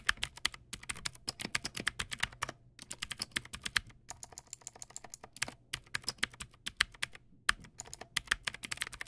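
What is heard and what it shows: Fingertips type on a backlit plastic mechanical keyboard, the Teamwolf Zhuque+ X08, with white plastic keycaps and clicky blue switches. It makes rapid, bright, crisp clicks in quick bursts with brief pauses. Each click dies away almost instantly over a faint low hum.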